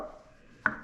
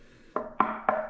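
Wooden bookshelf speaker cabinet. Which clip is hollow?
The first.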